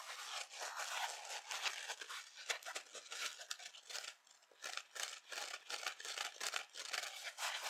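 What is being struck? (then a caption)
Foam kitchen sponge with abrasive scouring pad. A dry yellow and black foam kitchen sponge with an abrasive scouring pad is held by hand above an empty glass bowl, scratched with long nails and bent and squeezed by the fingers. It gives dense, irregular bursts of bright, crackly scratching and crinkling with almost no low end. Short pauses separate the bursts, and each sound stops quickly with no ring.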